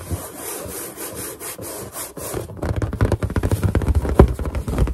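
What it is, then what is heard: Latex balloon being rubbed. Finger pads rub quickly over a large, hollow, inflated white latex balloon, making squeaky friction sounds. The first half is a softer, hissy rubbing. It then turns into a denser run of louder, low, resonant squeaks and thumps with short, bright bursts.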